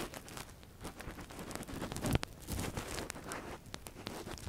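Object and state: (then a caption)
Silicone ear model scraped with a metal pick. A long thin metal earpick is inserted into the ear canal of a silicone ear model and scratched around inside it while worn with a latex glove. Close, dry crinkling, rustling and scraping sounds come in quick bursts, with one sharper, louder scrape near the middle.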